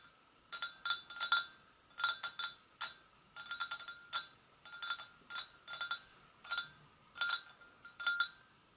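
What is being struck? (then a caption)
Porcelain gravy boat. A porcelain gravy boat is tapped gently with the fingers, giving clusters of quick, light clinks. Each tap rings briefly with a clear tone near 1.4 kHz and bright overtones, then fades fast, with short quiet gaps between the bursts.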